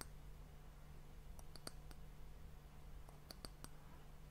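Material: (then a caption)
Wood. Long fingernails tap the solid, polished brown wooden end cap of a glass hourglass sand timer. Quiet, short, bright clicks come in two loose clusters, each dying away almost instantly, over a steady low hum.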